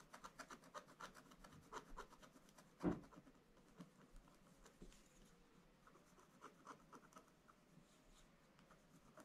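A wooden stylus scratches the black coating of a flat scratch-art paper page near the top snowflakes. A quiet run of short, dry scratching strokes sounds, with one louder, fuller scrape near the three-second mark before the strokes trail off softly.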